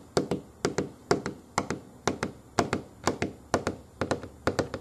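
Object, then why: Molded foam booster seat armrest. Fingernails tap and scratch the pebbled black molded foam armrest of a solid child booster seat resting on a wooden table. Twenty-two short, dull taps land in quick paired bursts, each with a soft mid-pitched knock and a faint bright scratchy edge that dies away almost at once.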